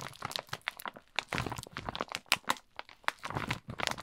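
Both hands squeeze and crinkle a plastic Kinder Schoko-Bons bag filled with wrapped chocolates. Dense, bright, crackly crinkling comes in rapid bursts with short gaps. The crackles are sharp and dry and die away almost instantly.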